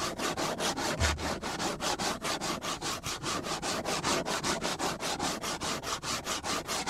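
Fingernails scratch and rub back and forth across the scratched surface of a flat, solid black plastic cutting board held at an angle. About thirty quick, rasping strokes follow in a steady rhythm, each a bright, airy hiss with little low end and almost no ring.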